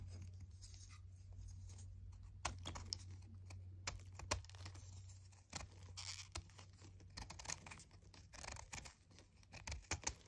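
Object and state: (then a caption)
Chalk disc being scraped. A small, solid, round white chalk disc is held in the fingers and scraped with a red utility knife blade until it is a thin slab. Dry, gritty scratches and sharp little clicks come in uneven bursts over a steady low hum. The scraping grows busier and brighter toward the end.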